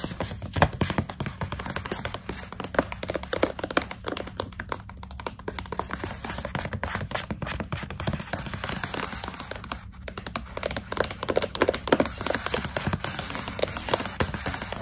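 Long pink nails tap and scratch rapidly on the front of a partly full stand-up plastic pouch of coconut strips held upright. The result is a dense, steady stream of short, dry crinkly taps and scrapes, with a faint low hum underneath and a brief pause near the ten-second mark.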